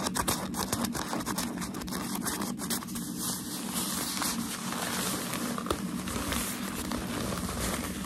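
White crumpled tissue packaging paper from a shoe box is held flat in both hands while fingertips and nails scratch, rub and tap its surface. A steady, dense crinkling and scratching rustle runs throughout, with brief sharper taps standing out. There are no pauses between the sounds.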